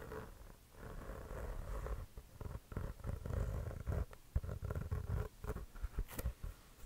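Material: Composite leather.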